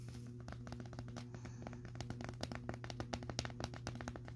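Fingertips and nails tap and rub the side of a clear plastic cylindrical Bissell vacuum dust canister with a purple base, filled to the full line with grey dust and colorful debris. The result is a rapid series of short, dry clicks and taps that grow sharper toward the end, over a steady low hum.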